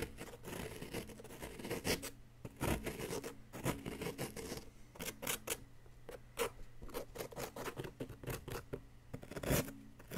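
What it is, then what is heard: Plaster excavation block being scraped. A wooden stick digs and scrapes around a bar embedded in a solid yellow plaster excavation block. It makes a run of dry, gritty scratches and short rasping strokes at a quiet level, each quickly fading, with a faint steady low hum underneath.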